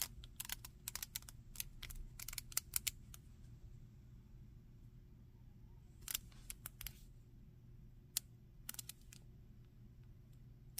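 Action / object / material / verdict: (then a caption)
tap / hard plastic action figure / plastic / none. Fingers tap the feet, face and arms of a solid, hand-sized, grey-green plastic monster action figure and move its limbs. The result is quiet, sharp, bright joint clicks and light taps over a steady low hum. The clicks come in a dense cluster for the first three seconds, then in sparser bursts around six to seven seconds and near the end.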